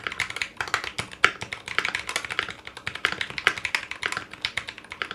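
A 60% Clueboard mechanical keyboard with Zealios V2 62g switches, in a foam-lined metal case with GMK ABS plastic keycaps and a coiled cable, is typed quickly with the fingertips of both hands. It makes a steady run of crisp, bright keystroke clacks centered around 1–2 kHz, with almost no low end and each click dying away almost instantly.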